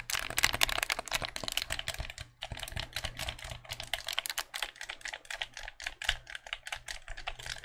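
A white, hollow plastic game controller is held in the hands while its buttons and triggers are clicked with the fingertips. The result is a rapid, steady stream of sharp, bright plastic clicks that stop almost instantly, with a brief pause partway through.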